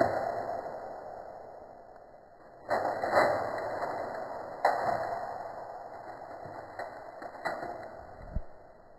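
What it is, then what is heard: Aluminium foil stretched over a bowl. Long fingernails slowly tap aluminium foil stretched taut and crinkled over the top of a hollow, round bowl. Five separate hollow, crinkly taps ring out briefly with a mid-pitched tone around 650 Hz.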